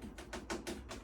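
Light taps on the black rim of a Hicozy ice machine make a quick series of dull, hollow clicks with little ring. The black rim is plastic, unlike the machine's stainless steel body.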